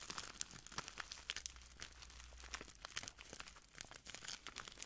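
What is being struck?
Small plastic bag filled with clear granules.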